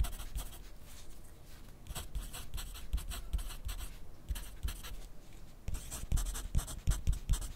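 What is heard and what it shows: A yellow wooden graphite pencil writes steadily on a thin grid paper sheet clipped to a white clipboard on a desk. The pencil tip makes continuous scratchy strokes with brief bright bursts and soft low taps, pausing briefly between words and lines.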